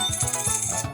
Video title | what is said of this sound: COIN Rp.100.78 2xTes Tambah Akurat | Apakah akan bunyinya nyaring atau berentang ya? Nah, ternyata ee bagus ya.